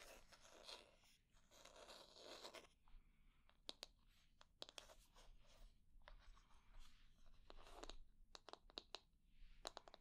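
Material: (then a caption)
Wood. Long nails scratch and tap the solid wooden back, handle and wooden bristles of a light wooden paddle hair brush. Bursts of dry, rustling scratching alternate with sharp, short clicking taps, with little ring after each tap.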